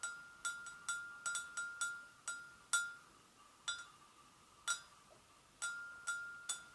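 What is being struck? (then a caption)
Porcelain gravy boat. An empty, hollow, medium-size white porcelain gravy boat is tapped on its sides and handle area with long acrylic nails. Thirteen irregularly spaced, gentle taps each give a bright click and a short, clear ringing tone around 1.4 kHz that fades quickly, with brief quiet gaps between some taps.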